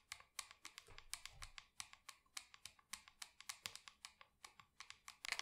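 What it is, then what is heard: Plastic plant pot tapped with fingernails. Long acrylic nails tap and scratch rapidly on the side wall of a small matte black plastic pot holding an artificial plant, producing 32 crisp, bright clicks. Each click dies away almost instantly, with very little low end beneath a faint scratchy rustle.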